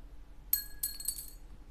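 The stock original saddle from a Cort guitar is dropped again and gives three quick, bright clinks with short, high ringing tones. It lands and bounces on a hard surface over a low background hum.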